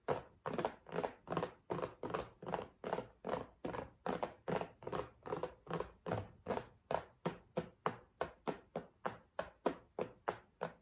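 A cardboard tissue box is tapped in a steady, even rhythm of 37 dull, short thunks over about eleven seconds. Each tap is a soft, muffled knock on cardboard that dies away almost instantly.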